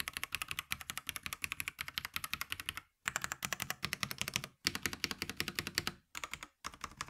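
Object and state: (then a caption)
Plastic mechanical keyboard. Both hands type rapidly with fingertips on a VortexSeries GT65 LITE, a compact 65% mechanical keyboard about 30 cm wide with a hollow black plastic case, plastic keycaps and Huano switches, lying on a grey desk. Dense streams of bright, sharp, clacky keystrokes with very short decay and little low end run in bursts, separated by brief silent pauses near 3, 4.6, 6.1 and 6.6 seconds.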